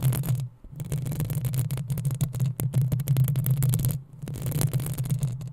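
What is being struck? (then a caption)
Metal mesh microphone grille. Long acrylic nails on both hands scratch the rounded, hollow metal mesh grille of a black USB condenser microphone. The result is a dense, continuous rustling scrape over a strong low, droning rumble, with faint bright crackles on top. The scratching briefly drops out twice, near half a second and around four seconds, before resuming.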